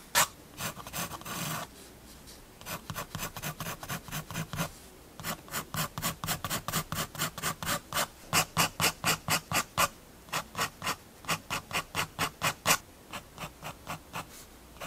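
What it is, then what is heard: Pen hatching on a sketchbook page. A fineliner pen makes dense, short hatching strokes on a spiral paper sketchbook page resting on a wooden desk. Around forty quick, dry rasping scratches come in uneven bursts with brief pauses, each bright and papery with almost no ring.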